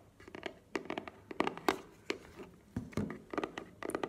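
A small, hollow black cardboard earbuds box is held and tapped with long nails. About sixteen short, dry, hollow taps land in an uneven rhythm, each ending almost instantly with a light papery click and a faint mid-pitched knock.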